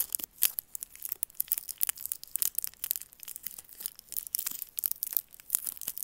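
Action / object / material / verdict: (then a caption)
scrape / hard candy in a plastic wrapper / plastic film / none. A single small hard candy in a twisted, crinkly plastic wrapper with a red, white and blue Roshen print is held between fingers and thumbs, then squeezed and rubbed. The wrapper gives off a dense run of sharp, bright crackles and crinkles, all high-pitched with almost no low end. The bursts come in quick, uneven clusters throughout.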